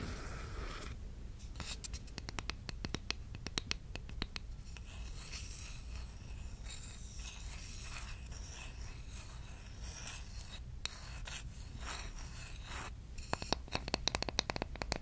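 Long acrylic nails scratch and tap a large, solid bamboo or wooden cooking spoon held flat. Soft, dry scratching runs throughout, broken by crisp, bright clicks that come in quick bursts near the start and again toward the end, all at a low, close-up level.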